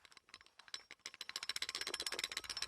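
An old, worn-out steel crankshaft and connecting rod assembly from a Yamaha Blaster is shaken by hand, producing a rapid, bright metallic rattle that grows louder and denser as the shaking continues. The rattle reveals play in the loose connecting rod bearing, showing the crank is worn out, unlike a new crank, which has very little side-to-side play.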